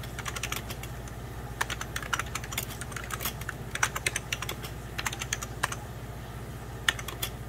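Slow fingertip typing on the keys near the spacebar of a beige plastic 1990s Packard Bell computer keyboard. The keystrokes are short, sharp, bright clicks that die away instantly, over a steady low hum.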